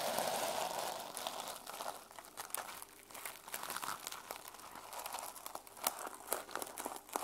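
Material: Plastic sequins.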